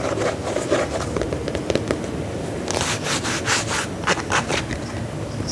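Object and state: Faux leather combat boot.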